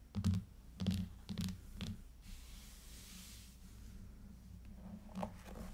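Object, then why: Clear plastic tablet case over an aluminium tablet. Long fingernails of both hands tap on the back of an aluminium iPad in a clear plastic case lying flat on a table. Several short, dull plastic thunks with brief bright clicks come in an uneven rhythm, clustered early and then one more near the end, over a quiet hiss.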